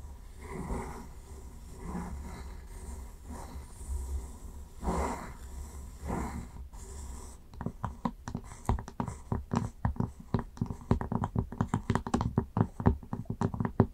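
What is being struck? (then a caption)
Flat wooden lid on a glass jar. Long nails scratch across the top of a flat, round wooden lid resting on a glass candle jar, making soft, breathy swells of rasping texture for the first seven seconds. The nails then switch to a quick run of dry, hollow taps on the wood that grow louder and stay steady to the end.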